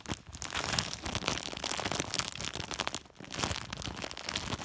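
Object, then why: Woven polypropylene sack. A hand rubs and squeezes a large white woven polypropylene plastic sack with its fingertips. The result is dense, bright crinkling and crunching that runs almost continuously, with a brief lull around the three-second mark before it picks up again.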